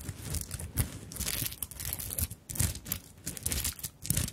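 Long nails scratch and tap across a small fabric handbag covered in beads and sequins. Bright, crinkly rustling and scraping come in uneven bursts, with soft low taps underneath. The clip is a close, continuous textured clicking that rises and falls in short swells.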